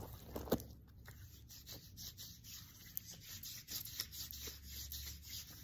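An open hand rubs and scratches the sequins of a silver sequin-covered fabric pillow with its fingertips and nails, up close. A steady run of bright, dry rustling and scraping strokes follows, with a louder scratch near the start and a faint low hum underneath.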